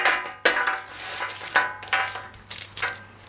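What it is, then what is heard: Crisp, dry baked crackers. Homemade garlic-cheese crackers are dropped onto a dish or hard surface, making a series of bright, dry clicks and clatters with a short ring. The crisp, hard sound shows the crackers are baked crisp and dry.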